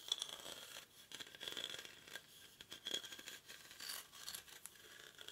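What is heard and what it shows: Short fingernails scratch the weave of a hollow, cylindrical woven rattan/reed basket held in both hands. The result is a quiet, dry, bright scratching made of rapid rasping bursts, with a steady tone near 3.4 kHz and almost no low end.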